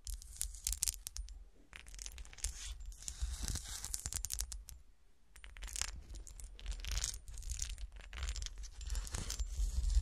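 Long fingernails and fingertips scratch the sides of a small, solid frosted and cut-glass golf shoe ornament standing upright on a table. Dense bursts of dry, bright scratching and tapping come and go, with a brief quiet dip around the middle before the scraping resumes.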